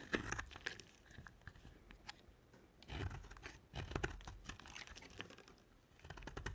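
A utility knife blade carves flakes off a dry, solid white soap bar with a dark coating. Quiet, crisp scraping and crunching strokes come in irregular bursts, with louder, denser cuts near the middle and end. Each stroke stops short with almost no ring.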